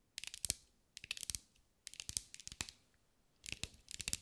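A green mirror-glass mosaic ball held in the hands is tapped and scratched with long acrylic nails. Four short bursts of quick, bright, crisp clicks and scratchy ticks are heard with very little low end, each dying away at once, separated by brief silences.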